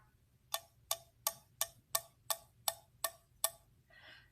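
A ceramic corn-man figurine is tapped nine times in a steady rhythm. Each tap gives a short, dull click with almost no ring, followed by a softer scraping sound. The dull tone instead of a clear ring shows the figurine is cracked somewhere.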